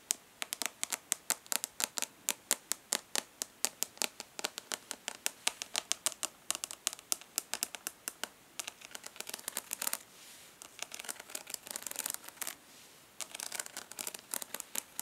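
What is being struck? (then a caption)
Plastic makeup palette. Long nails tap and scratch the raised embossed letters on the lid of a rectangular hollow plastic eyeshadow palette held in one hand. Dozens of quick, sharp, bright clicks come in a steady stream, broken around the middle by softer, continuous scratching before the tapping returns.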